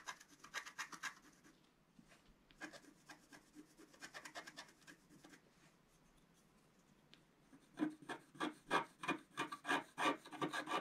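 A wooden stylus scratches across a flat coated scratch-art sheet in quick, fairly rhythmic strokes, making dry, papery rasping bursts with a midrange tone. The scratching comes in clusters with quiet pauses between them, and the last few seconds grow louder and crisper.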